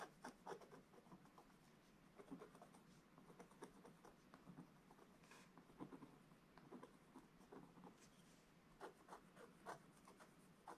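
A wooden stylus scratches across a black-coated scratch-art book page, scraping out the drawn presents. Quiet, dry scratching comes in a series of short, bright strokes with brief pauses between them, each stopping almost instantly.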